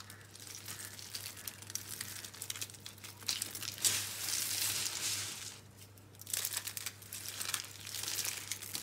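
Fingertips break dry green and pink soap rolls and crush the pieces and crumbs in a pile, making dense, bright crackling and crumbling. The crunching swells louder in the middle, drops off briefly, then picks up again over a faint steady low hum.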